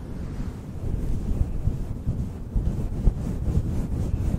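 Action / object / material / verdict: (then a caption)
scrape / synthetic fur microphone windscreen / synthetic fur / none. Fingers brush and squeeze a fluffy synthetic faux fur windscreen directly on a microphone. The result is a continuous deep, muffled rumble and rustle concentrated in the low bass, with almost no high content and irregular soft swells.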